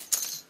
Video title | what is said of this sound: Unboxing N°26 - lepetitmagicien.com | the queen résonne comme une casserole